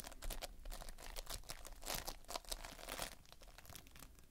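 Fingertips press into and scratch across the surface of multicolored Playfoam, foam beads held in a sticky binder. The result is a dense, irregular run of crackly, crinkling bursts with bright, sharp edges over a faint low rumble. It grows slightly louder near the middle and then softens toward the end.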